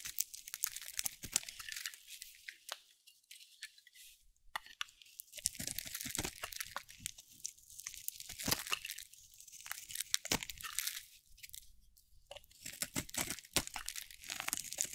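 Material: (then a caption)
Soap. A metal utility blade carves and scrapes curls off a hand-held, solid cream-white bar of dry soap with a teal rim. Bright, crunchy scraping and crackling fills the clip in dense bursts, with brief quieter pauses between cuts.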